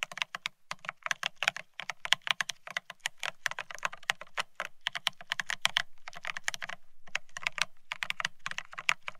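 Both hands type rapidly with their fingertips on a Bear65 mechanical keyboard fitted with blank white matte ceramic Cerakey keycaps on a steel plate, resting on white cloth. The result is a dense, continuous stream of short, bright, crisp clacks with a faint low thock under each press and very little ring, with a few brief pauses between bursts.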